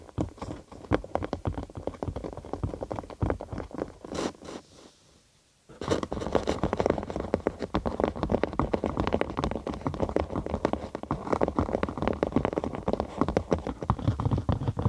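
A thin cork sheet, curved over a binaural microphone with a hollow space beneath, is scratched with long acrylic nails. The result is a dense run of crackly, hollow scratching with a low, bassy body. It stops for about a second near the middle, then resumes steadily.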